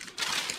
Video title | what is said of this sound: Home made Toilet Paper | You can tell when it's ready because you hear a nice crisp sound again